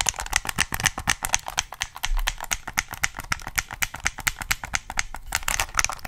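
Fingertips click the buttons and tap the body of a black, hollow plastic PS3 game controller held at different angles close to the mic. Dozens of short, dry plastic clicks and taps come in an irregular, rapid stream, bright and hollow-sounding with most energy around 2.3 kHz and little low end.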